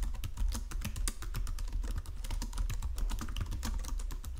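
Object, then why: Plastic computer keyboard. Both hands type continuously on a full-size white-and-silver plastic Logitech wireless keyboard lying flat on a marble surface, fingertips with short nails pressing and tapping the keys. The result is a steady stream of quick, dry key clicks with short decay over a low, dull rumble.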